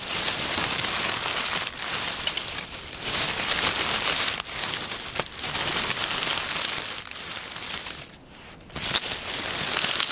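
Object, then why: Pile of oak leaves. Hands crumple a pile of dry brown oak leaves on a wooden table, then pat and rustle them. The result is a steady, bright, crackling crinkle with almost no low end, easing briefly a few times and dropping to a near-quiet pause just after eight seconds before the rustling picks back up.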